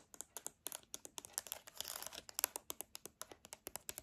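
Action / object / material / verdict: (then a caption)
tap / plastic TV remote control with rubber buttons / plastic / none. Long dark painted nails tap and scratch the rubber buttons and casing of a hand-sized, hollow, silver-grey plastic TV remote held up close, which is then turned over to show its dark back. About thirty sharp, dry clicks come in quick succession, with a brief scratchy rustle in the middle, all bright and high-pitched with no ring.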